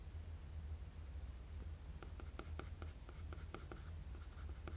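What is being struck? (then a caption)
Graphite pencil on a sheet of drawing paper. A wooden graphite pencil scratches short strokes across a flat sheet of drawing paper, each stroke a brief, bright, dry scrape. The strokes come quickly after the first two seconds, over a steady low hum.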